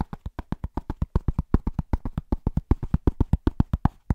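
A large, round, flat, solid cork trivet is held upright and tapped fast and rhythmically with the fingertips of both hands, nails short. About 31 quick, dull, low thuds land in a slightly uneven rhythm over four seconds. Each tap dies almost instantly, with no ringing.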